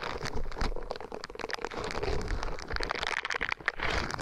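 A small, flat, thin and flexible green silicone scrubber sponge with a hanging tab is bent, folded and squeezed with the fingers of both hands. It makes a steady run of soft crinkling and crunching with quick crackly clicks over a low rustling rumble. The texture rises and falls but never fully stops.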